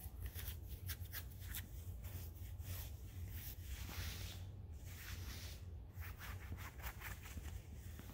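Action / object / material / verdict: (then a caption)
scrape / woven suiting-fabric dress pants / woven fabric / none. Fingertips and nails scratch and rub light grey woven suiting-fabric dress pants, worn on crossed legs, over the thigh and knee. Quiet, bright scratchy strokes repeat steadily over a constant low hum, with soft fabric rustling in between.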